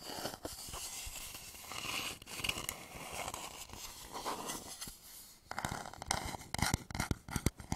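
Fingertips and short nails scratch and tap the outer surface of a medium turned wooden bowl, hollow and empty, held upside down over the microphone. About five seconds of steady, bright scratching give way to a quick series of sharp, dry, hollow taps that die away almost instantly.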